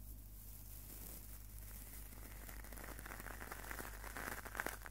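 A small, hollow-mesh stainless steel wire scouring pad is squeezed and crunched by fingertips right next to the microphone. Quiet, dense metallic crinkling and crackling plays over a steady low hum. The crackles grow sharper and brighter toward the end.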